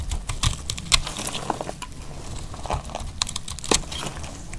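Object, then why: Laundry soap bar cut with a metal blade. A dry, solid brown embossed bar of laundry soap is held in the hand and sliced with a metal utility knife blade. The cutting gives a run of short, dry, bright clicks and crisp scraping snaps over a low rumble, each dying away almost at once.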